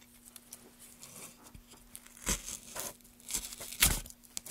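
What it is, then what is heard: Softwood board being carved. A gouge held in a gloved hand carves along the grain of a solid pale softwood board, scraping up shavings. Irregular bright, tearing scrapes and crinkly shaving sounds rise and fall over a faint steady low hum, with the loudest strokes near the end.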